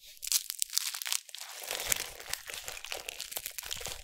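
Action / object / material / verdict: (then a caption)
scrape / scored bar of soap / soap / none. A palm-sized solid yellow bar of soap, scored into thin slices, is held in both hands with long nails and squeezed and crushed over a bed of loose soap shavings. The slices snap and crumble in a dense run of sharp, bright crunches and crackles with almost no low end. The crunching is louder and more scattered at first, then settles into a steadier stream of crumbling.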